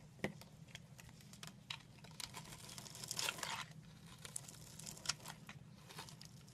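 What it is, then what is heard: Bar soap cut with a knife. A solid rectangular orange bar soap, held in the hand, is scored into a grid and carved into small cubes with a yellow utility knife blade, and the cube chips fall onto the table. Quiet, crisp cuts and crackling scrapes repeat throughout, with a longer, brighter scrape near the middle, over a steady low hum.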